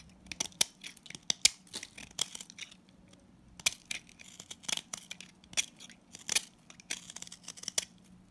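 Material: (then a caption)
Salt soap. A box-cutter blade scrapes and shaves the surface of a palm-sized, orange, solid salt scrub soap bar. It makes quick, dry, gritty rasps and crackles, bright and crisp with almost no low end. The strokes come in irregular bursts, with a short quiet stretch near the middle.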